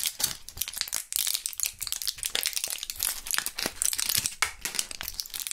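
A mostly empty clear plastic and foil gum blister pack, with one purple gum piece left, is crushed and crinkled between gloved fingers. Dense, bright crackling and sharp crinkles fill the whole clip in rapid bursts, with almost no low end. The snaps die away almost instantly.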